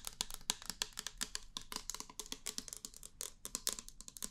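A small, hollow, clear plastic foam pump bottle with a pink pump head, apparently empty, is held in the hands and tapped with long painted nails. About 28 quick, bright clicks and light rattles come in an irregular run, each dying away almost instantly with little low end.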